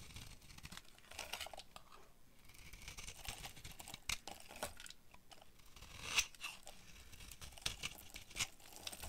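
A utility knife blade carves and scrapes crumbly shavings from a hand-sized, solid cream-yellow bar of dry soap with a dark outer coating, held in one hand. Dry, bright scraping and crumbling runs throughout, broken by sharper crunchy cuts, the loudest just after six seconds.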